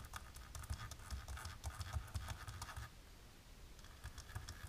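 Long natural pink polished nails, worn with lace fingerless gloves, scratch fast across thin dark embossed plastic film laid flat on a table. Rapid dry, crackly scratching bursts carry a crisp, bright rasp over a low, dull rumble. The scratching eases to a quieter, steadier rub partway through before a few sharper strokes return.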